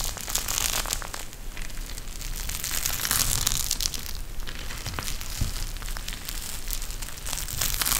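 A pink eye mask with fabric trim and a clear plastic shell filled with gel beads is bent and squeezed in both hands. It makes continuous bright crinkling and crackling with dense clicky bursts over a steady low rumble, holding a fairly even level throughout.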